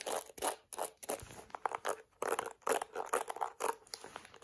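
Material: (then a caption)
Plastic. Long acrylic nails tap the yellow rim of a yellow-and-black plastic detangling hairbrush and scratch across its plastic bristles. The result is a quick run of dry, crisp scratching bursts and light clicky taps, bright and mid-toned with no low end and almost no ring between strokes.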